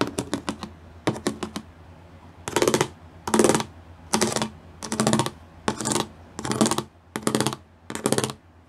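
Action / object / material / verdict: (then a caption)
tap / plastic studded sheet / plastic / none. Glitter-painted nails and fingertips drum fast on a gray plastic sheet covered in pyramid studs. A quick run of five sharp taps and then four more gives way to eight dense bursts of rapid clicking, each roughly half a second long, with bright, crisp ticks and short pauses between them.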